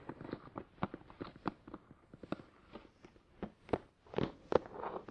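Fingertips tap the top and sides of a hollow, glossy black printed cardboard Tascam DR-100 mkII product box lying on its side on a towel. About fifteen quiet, dry, hollow-sounding mid-pitched taps land in an uneven rhythm, each stopping instantly with no ring.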